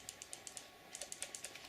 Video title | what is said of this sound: 500 Magnum Caliber Compared 500 ماغنوم | now if I shake it you hear that noise that's the safety bar